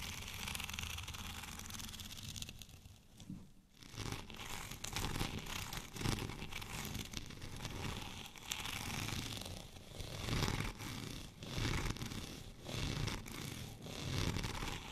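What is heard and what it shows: Short fingernails on both hands scratch across the raised studs of a white studded plastic rolling pin. The result is a dense, continuous scratchy crackle, like tearing or crinkling, with a low rumbling body and bright edges. It dips briefly near the start, then swells and fades in uneven waves.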